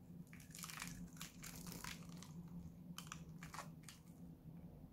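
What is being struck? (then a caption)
Bar of soap scraped with a metal blade. A solid blue Lux dry soap bar, held in the hand, is repeatedly cut and scraped with a metal utility-knife blade, shaving off crumbly flakes. Dry, crunchy, crinkling scrapes come in quick bright bursts over a steady low hum.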